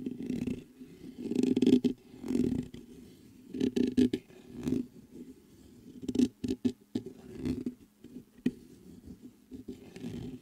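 Fingertips tap and brush the top of the mesh grille on a black metal USB microphone. Irregular bursts of soft, muffled thumps and scratchy rustling come close to the mic, with a dull low-mid body around 250 Hz. Each touch dies away almost instantly, with short quiet gaps between clusters.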